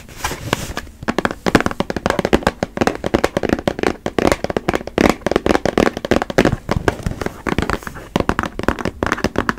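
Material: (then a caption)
Cardboard. A Puffs tissue box of printed cardboard, hollow and holding tissues, is held in both hands and tapped and scratched with long acrylic nails on its faces and edges. Rapid, dry, clicky taps with a hollow midrange body come in uneven bursts over soft scratching, and each hit dies away almost at once.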